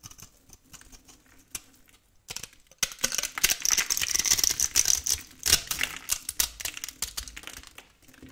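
A metal blade scrapes a solid, very old, cream-colored dry soap bar held in a hand with long painted nails, crumbling small cubes off it. Sparse, quiet crackles give way after about three seconds to a dense run of bright, dry, rapid scratching and crumbling. It then thins back to scattered ticks.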